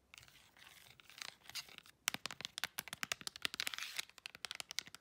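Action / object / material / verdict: tap / plastic remote control with rubber buttons / plastic / none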